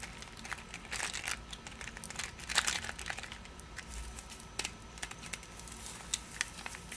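A Pastiglie Leone paper-wrapped cardboard candy box is turned in the hands while long nails scratch and tap its wrapper. The result is quiet, bright crinkling and scratching broken by short, sharp taps that die away almost instantly, and the box stays the same throughout.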